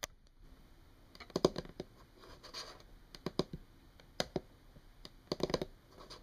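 Long painted nails on both hands tap and scratch a flat, solid brown wood-grain tabletop. Quiet, dry clicks come in small clusters over a soft scratching hiss, each tap dying away almost instantly with a bright edge.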